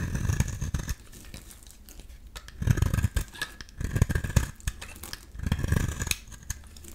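A metal utility-knife blade scrapes and shaves fine flakes from a solid rectangular beige bar of soap held in the hand. Four short bursts of dry, crackling scraping stand out, each heavy in low rumble with bright, crisp edges, separated by quieter stretches of faint scratching.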